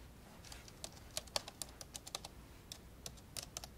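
Keys on the plastic keyboard of an old dark grey laptop lying open are pressed one by one with index fingertips. About 17 short, bright, dry taps come at an uneven pace, each dying away almost instantly over quiet background hiss.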